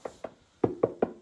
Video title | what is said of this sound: The 250 Year Old Secret Hiding In Our Walls... - You Won't Believe What We've Found! | it sounds like solid, that. Yeah. That might be just where there's plasterboard adhesive